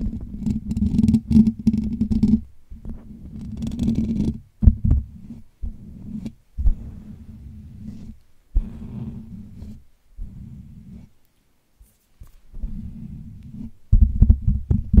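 Fingertips of both hands scratch and rub the hollow steel wire-mesh grille of a Blue Yeti USB microphone, with nothing else on the mic. The result is a dense, low, muffled rumbling scrape in uneven bursts separated by short silences, with a faint bright crackle in the opening seconds.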